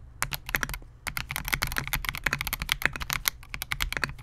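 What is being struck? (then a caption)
Mechanical keyboard with polycarbonate case and plastic keycaps. Fingertips of both hands type continuously on a Melgeek MOJO68, a compact 68-key mechanical keyboard with Gateron G silver pro switches, a clear translucent polycarbonate case and SA-profile plastic keycaps, resting on a desk mat. A rapid, steady stream of bright, sharp clacks sits over a soft low thump, with each keystroke dying away almost instantly.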